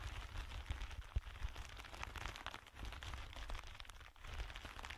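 Clear plastic bubble packaging film is bunched between two hands while fingertips crinkle and squeeze it. A continuous stream of light, hollow crackles and crunches runs through the clip over a steady low rumble, with one sharper pop standing out early on.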